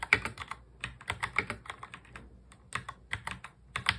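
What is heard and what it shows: Fingertips of both hands touch type quickly on a full-size black plastic mechanical keyboard. Bright, short clacks come in quick bursts separated by brief pauses, each keystroke dying away almost at once.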